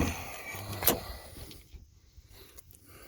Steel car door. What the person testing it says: doors shut like i should it don't rattle ... it don't sound like you're in a tin can going down the road ... it sounds solid